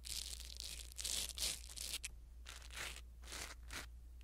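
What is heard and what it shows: A blue silicone-bristle ear pick scratches and rubs a small black foam windscreen on a pin microphone. The result is close, bright, crackly rustling in uneven bursts with short pauses, over a steady low hum.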